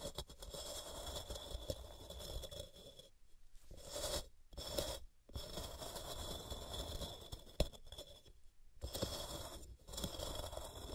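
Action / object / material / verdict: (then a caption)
scrape / gym chalk block / magnesium carbonate / none. Long painted fingernails scratch and scrape along the top and sides of a large solid white block of gym chalk (magnesium carbonate) resting on a cork mat, with loose chalk powder around its base. Dry, gritty scraping runs in steady strokes with a bright, hissy edge and a low rumble underneath, broken by several short silent pauses.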